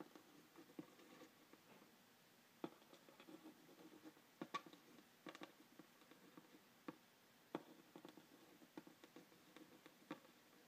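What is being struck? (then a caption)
Printed cardboard box tapped and scratched with a pen. A pen tip scratches and taps lightly over the front panel of a hollow, printed cardboard phone-stand box held in one hand. Soft, continuous papery scratching is broken by short, sharp, dry taps at irregular intervals, all quiet and without ring.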